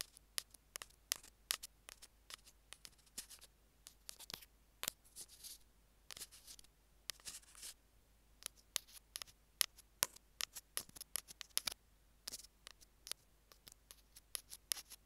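Metal tweezers tap and grip the ends of a small, hollow, white plastic Apple earphone mic remote. The result is a quiet, irregular run of sharp, bright clicks and ticks with almost no low end, mixed with a few short scratchy bursts. Each click dies away almost instantly.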